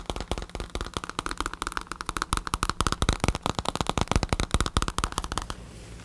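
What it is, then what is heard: Synthetic leather bicycle saddle. A black padded bicycle saddle with a synthetic leather cover is tapped with fingertips and nails close to the recorder. It gives a rapid, uneven run of short, dry taps with a low thud and a bright click on each. The tapping stops just before the end, leaving a soft hiss.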